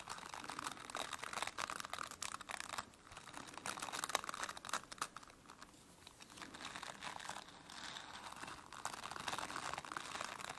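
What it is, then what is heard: Plastic bristle brush. Long nails scratch and rake through the dense plastic bristles of a plastic brush. The result is a dense, crinkly, crackling rustle centered in the midrange with bright hiss above. It comes in sustained bursts that briefly quiet down around the 3, 6 and 8 second marks.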